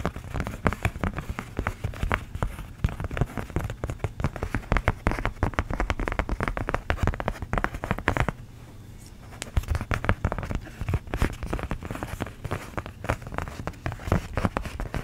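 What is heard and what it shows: Long nails scratch and tap on thin, hand-sized sheets of orange craft foam cut into pumpkin shapes. The result is a dense run of short, dry crackling taps and scrapes with a low, thumpy body, pausing briefly near the middle before resuming.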